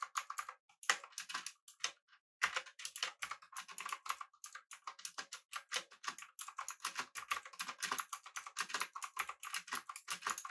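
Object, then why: Mechanical keyboard with round plastic keycaps. Fingertips rapidly press the keys of a pink backlit mechanical keyboard with an aluminum body and round plastic keycaps on a desk. A fast run of crisp, bright clicks and clacks follows, with almost no low end, each keystroke dying away at once, and a brief pause near the two-second mark.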